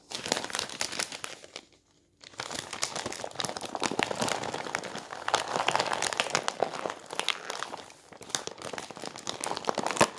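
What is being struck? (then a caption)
Glossy coated-paper magazine. A glossy coated-paper sports magazine is held in the hands while its pages are bent, folded and turned with the fingers, crinkling the thicker glossy paper. Dense, bright crackling and rustling fills the clip, with a brief silent pause near the two-second mark before the crinkling resumes.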